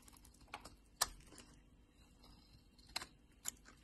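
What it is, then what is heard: Bar soap being shaved. A utility knife blade shaves the surface of a solid pink bar of soap held in the palm, curling off thick shavings. Four sharp, bright scraping clicks rise from a quiet, soft rustle and die away almost instantly.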